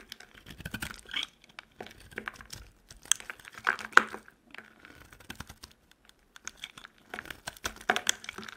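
A metal utility knife blade carves crumbly chunks off a solid, dry, peach-colored soap bar with foil on its edges, held in the hand. Short, dry, crunchy scrapes and crackles come in irregular bursts with brief quiet gaps, each stopping almost instantly with no ring.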